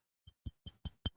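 A glass bottle of 22-year-old whiskey, about three quarters full, is tapped five times. Each tap gives a short low thump with a bright glassy ping on top, and the taps grow slightly louder toward the end.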